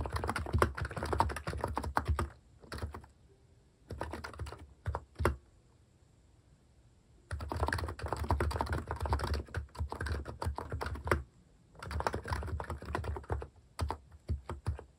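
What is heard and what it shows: A plastic cat-keycap Hanmumu capacitive keyboard is typed on continuously with fingertips while finishing a novel manuscript. Fast runs of soft, low, muffled keystrokes come in bursts, with short pauses at about 2–4 seconds, a longer quiet gap around 5.5–7 seconds, and a brief break near 11 seconds.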